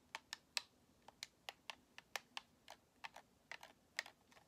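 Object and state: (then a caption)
Plastic game controller tapped with fingernails. Long nails tap the top and thumbsticks of a white, hollow plastic Xbox controller held in both hands. About fifteen quiet, sharp, bright clicks come in an uneven rhythm, each dying away almost instantly.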